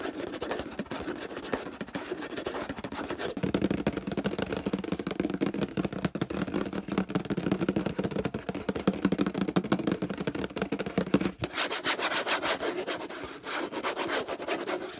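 Fingertips and nails scratch and rub quickly over the paper label and plastic body of a hollow orange plastic detergent bottle. The result is a dense, continuous stream of dry scratching and rubbing with a hollow, mid-low body. The texture shifts slightly in tone partway through and turns brighter and thinner near the end.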